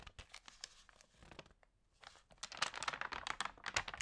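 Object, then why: Glossy paper magazine. Fingertips press and rub the pages of a glossy paper food magazine and turn them one by one. Quiet, bright crinkles and rustles come in short, irregular bursts, growing denser and louder in the second half.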